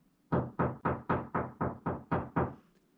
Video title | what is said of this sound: Détecter les murs porteurs et cloisons semi porteuses (danger ⚠️) | ça sonne creux. Ça sonne creux, donc c'est peut-être pas porteur. En fait, il y a le mur porteur derrière